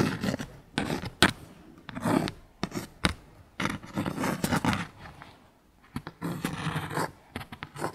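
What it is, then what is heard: Cardboard clothing tag. Long pink acrylic nails scratch and tap a small, thin, flat dark cardstock clothing tag reading "Barbilioni" held in the hand. Short bursts of dry, close-up scraping and rubbing alternate with sharp, crisp taps that stop almost at once, with bright papery texture over a soft low body.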